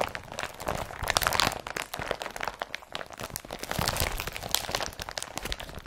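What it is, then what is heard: Woven polypropylene carrier bag being crumpled. An empty blue IKEA BRATTBY woven polypropylene carrier bag is rubbed and crumpled with the fingers. It gives a steady run of dry, crackling crinkles and crunches with bright, papery texture. The sound swells in two louder bursts of handling before settling.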